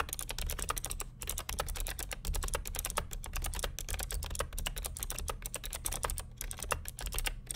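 Fingertips of both hands type continuously on the plastic keycaps of a vintage beige NMB RT8255C+ mechanical keyboard with Hi-Tek "Space Invader" clicky switches and a hollow plastic case. A rapid, steady stream of sharp, bright clicks runs over a low, constant rumble, with each keystroke dying away almost instantly.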